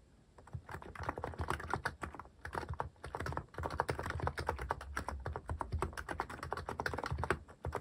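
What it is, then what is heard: Mechanical keyboard with plastic keycaps. Fingertips press and tap the plastic cat keycaps of a mechanical keyboard while typing steadily. The rapid, dense run of short, dry clacks has a soft low thump under a mid-range click, and each keystroke dies away almost instantly.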